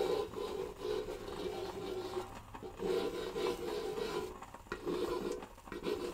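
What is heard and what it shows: A round, hollow orange-and-red patterned cardboard decorative box with a small clasp is held in one hand while its surface is traced and scratched with a fingernail or a feather tip. Soft, raspy rubbing strokes come in bursts with brief pauses between them, and each carries a faint hollow hum around 400–500 Hz.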